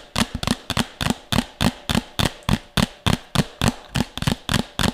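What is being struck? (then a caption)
Upturned plastic bowl. A medium, empty, hollow red plastic bowl is held upside down over the mic and tapped quickly with long nails and fingertips. There are 17 fast, uneven taps, some in quick pairs, each a dull hollow thump with a bright clicky edge that dies away almost at once.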